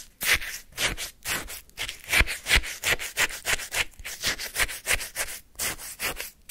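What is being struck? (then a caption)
Lemon shaved-ice sorbet in a paper cup, scraped with a wooden spoon. A wooden spoon scrapes across the frozen surface of a full paper cup of lemon shaved-ice sorbet. About two dozen quick, crisp, bright scraping strokes repeat in an uneven rhythm, each one a short gritty rasp with no ring after it.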